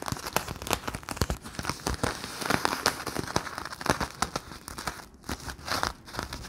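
Fingertips press, squeeze and crinkle the thin film of a round, clear, hollow, sticky, palm-sized plastic Bloonies bubble. The result is a dense run of sharp crackles and crinkles with short, quick-decaying snaps and bright, papery hiss, with a brief quieter gap near the end.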